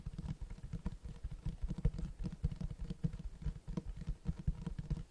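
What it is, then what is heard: Cloth-covered hardcover book. Fingertips tap and scratch the cloth-textured front cover of a large black Berserk hardcover book. The result is a quick, irregular run of soft, dull, low thumps with short scratchy brushes between them. Each tap dies away almost at once, with no bright ring.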